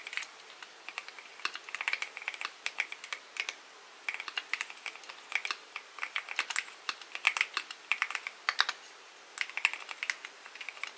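Both hands' fingertips type continuously on a full-size mechanical keyboard with a dark metal case and solid white and pastel plastic keycaps. Dense runs of short, bright clicks and clacks come in bursts with brief pauses between them, each keystroke dying away almost at once. There is no low-end thump.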